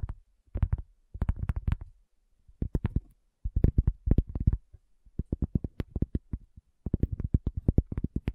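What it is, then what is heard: Cork coaster. Long natural fingernails and fingertips tap a solid, round, flat cork coaster close to the recorder. Quick bursts of short, dull, deep thuds come in clusters separated by brief pauses, each tap dying away almost instantly.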